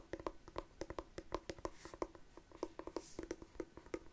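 Long nails tap and scratch across the black textured covering of a closed, hollow, palm-sized hard-shell glasses case. About 22 quick, short clicks ring with a hollow, mid-pitched tone, separated by faint scratchy rustling.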